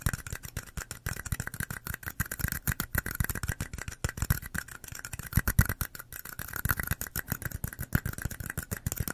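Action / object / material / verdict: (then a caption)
tap / small plastic party cups / plastic / none. Long nails tap and scratch the walls and bottoms of two small identical red plastic party cups with white bottoms, hollow and empty, one held in each hand close to the mic. A rapid run of more than forty quick, dull hollow taps lands with a low thump around 110 Hz, mixed with a thin scratchy hiss, each tap dying out almost instantly.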